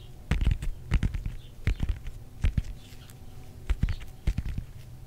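Fingernails scratch and tap the textured peel of a whole fresh orange, palm-sized and solid, held in both hands. Short bursts of dull, low taps come with faint, bright scratchy clicks that die away almost at once, separated by quiet gaps.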